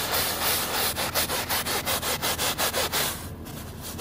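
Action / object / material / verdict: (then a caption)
scrape / woven fabric rug scrubbed with a plastic brush / woven fabric / none. A white plastic scrub brush with blue bristles is worked vigorously by hand over the ribbed woven backing of a wet, soapy fabric rug. It gives a rapid series of bright, rasping back-and-forth strokes, about nine distinct pulses over four seconds. The strokes then soften into a quieter, duller scrubbing at the end.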